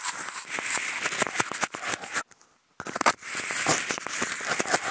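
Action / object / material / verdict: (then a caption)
scrape / expanded-polystyrene food container scratched with toothpicks / polystyrene foam / none. Two toothpicks fitted with clip-on contact microphones scratch across the ribbed grooves on the side of a hollow, empty, white hexagonal expanded-polystyrene food container. The result is a dense, bright, dry crackling of rapid clicks and squeaky scrapes with almost no low end. It stops for a brief silent gap midway, then resumes.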